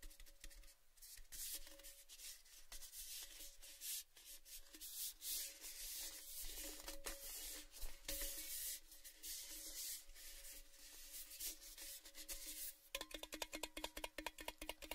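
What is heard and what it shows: A tall, red, cylindrical metal Baileys gift tin, hollow and empty, is held and turned while fingertips and nails tap and scratch along its side. Soft, bright scraping and rubbing textures mix with light taps and a faint steady hollow ring, and near the end the taps become quicker and sharper.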